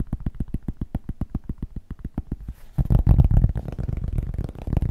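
A cork is tapped quickly, giving deep, bassy, dull knocks with almost no ring. The taps are evenly spaced for the first few seconds, then become louder and denser, running together into a continuous rapid patter.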